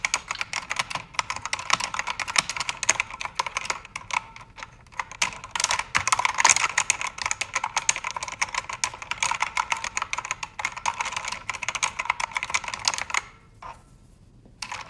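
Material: Plastic.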